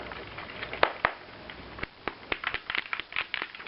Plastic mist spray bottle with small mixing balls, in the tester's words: shake it until i hear the little balls move